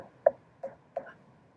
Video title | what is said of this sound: Pumpkin Play Take Home Kit K | sounds like somebody's knocking on the door it sounds hollow on the inside because there's not really a lot in there